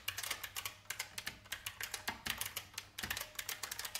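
Fast fingertip typing on a vintage beige IBM mechanical keyboard with plastic keys produces a rapid, uneven stream of sharp, bright clacks. Each keystroke is crisp and dies away almost at once, with very little low end beneath the clatter.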